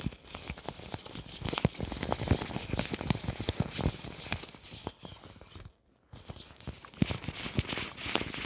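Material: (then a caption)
Plastic. Fingertips grab, crumple and rub the loose sheet of a large, thin, clear plastic apron worn over the body, producing dense, bright crinkling and crackling with sharp little snaps throughout. The sound drops to near silence for about half a second just before the 6-second mark, then the crinkling resumes.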